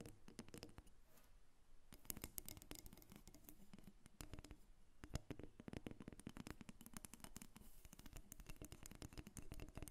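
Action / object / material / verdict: tap / carved wooden figurine / wood / none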